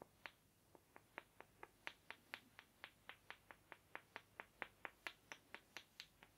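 Two small, light-coloured, solid-looking rectangular wooden blocks, held one in each hand, are knocked together, first near the ear and then in front of the chest. They give 26 short, dry clacks at a steady, slightly uneven pace. Each clack is bright and sharp, centred around 1.8 kHz, and dies away almost instantly over a quiet background.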